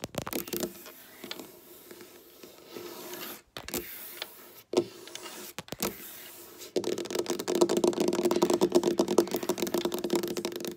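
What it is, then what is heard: Wooden tabletop tapped with fingernails. Long black nails tap quickly with both hands on a large, solid, flat dark wooden tabletop, with some nail scratching mixed in. The sound is a run of crisp, clicky taps with a mid-pitched body over bright scratchy edges. After a quieter, sparser first half with brief pauses, the tapping turns loud and dense near the end.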